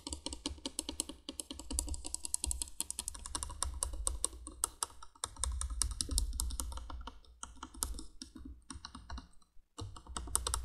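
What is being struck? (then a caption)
Plastic window candle light. Long nails tap quickly on a hollow yellow plastic candolier, a plastic candle light lying on its side with its candle sockets exposed. The result is a steady stream of sharp, bright clicks that resemble fast typing over a low, soft thump, with brief pauses near the middle and the end.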